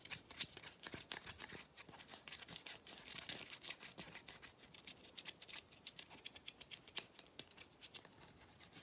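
Fingernails rapidly tap and scratch the black rubber end cap of a hollow vacuum cleaner filter. The result is a dense, steady stream of short, dry, bright clicks and scratchy rasps, with very little low end and almost no ring after each touch.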